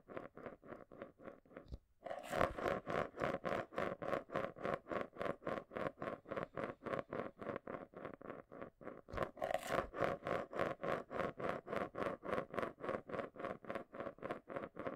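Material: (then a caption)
Plastic. A marble swirls around the inside base of a small, round, hollow clear plastic container held in both hands, rolling and rattling against the plastic. It makes a fast, fairly steady stream of short clicking ticks over a hollow midrange tone, with brief bright, louder bursts around the 2- and 9-second marks.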